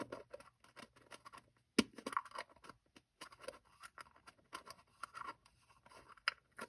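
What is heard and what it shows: A small hollow two-piece plastic gacha capsule with black and orange halves is held in both hands while the thumbs scrape and twist the seam to pry it open. Short, dry plastic scratches, clicks and creaks come in quick bursts with little low end. A sharp louder crack stands out near the two-second mark.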